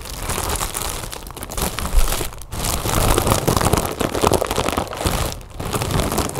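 A large, inflated, hollow "Happy Birthday" mylar foil balloon lies on a table and is scratched and tapped with the long nails and fingertips of both hands. The result is a dense, continuous crinkling with a heavy low thump under fast scratching, with brief pauses around 2.5 and 5.5 seconds.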